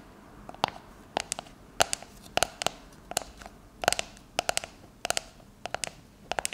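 Long nails tap and scratch across the labeled body of a shaving foam can, likely a metal aerosol can with a plastic cap, lying on its side on a countertop with both hands on it. Quick bursts of sharp, bright clicks come in small clusters, each with a faint hollow ring around 700 Hz that dies almost instantly.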